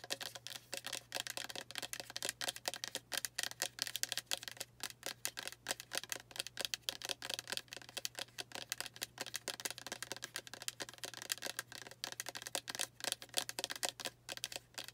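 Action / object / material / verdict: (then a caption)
tap / plastic spray bottle with liquid / plastic / none. Long nails rapidly tap and scratch the label and surface of a pink Heritage Store Rosewater spray bottle, a plastic bottle of about 8 oz with liquid inside. The result is a fast, dense stream of bright, dry clicks and scratchy rasps that die away almost instantly, over a faint steady low hum.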